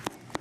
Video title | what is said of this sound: Debbie Meyer GreenBoxes 10piece Nesting Rectangular Set | that thick Hollow sound that's what a very fresh pepper sounds like